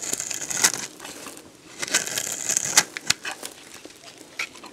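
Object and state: Dried bar soap being scraped.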